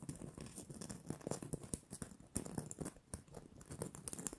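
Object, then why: Glitter-coated plastic Christmas bauble. Long manicured nails scratch and tap the rough glitter surface of a small, hollow, red glitter-coated plastic Christmas bauble with a gold cap and string. The result is a quiet, continuous patter of dry scratches and light clicks with bright, crisp edges and a hollow plastic tone underneath.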